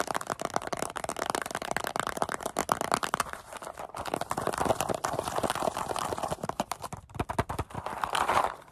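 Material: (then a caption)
Paperboard. A small, hollow paperboard Goldfish cracker carton, likely partly full and with its top flap opened, is tapped and scratched with long acrylic nails and squeezed in the hands. Dense, rapid dry clicks and crinkling scrapes run throughout, centered in the midrange, with a brief pause near seven seconds before a louder burst of crinkling at the end.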